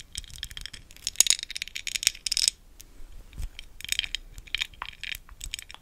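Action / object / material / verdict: tap / textured glass candle jar filled with wax / glass / none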